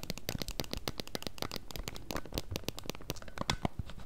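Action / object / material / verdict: tap / hard plastic case of a handheld game console / plastic / none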